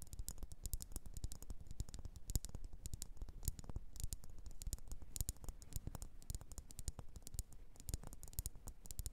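Long nails tap and scratch a solid red faceted wax pillar candle. The result is a quiet, steady stream of quick, irregular clicks and scrapes, each dull and very short, with bright ticks over a soft low thud.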